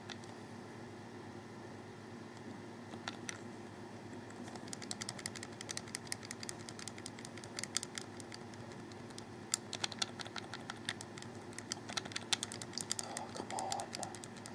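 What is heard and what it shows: A hollow, black plastic wired Xbox 360 controller is held in both hands while fingertips click its buttons and thumbsticks. A few scattered clicks give way to quick, dense runs of short, bright plastic ticks that die away instantly, over a steady low background hum.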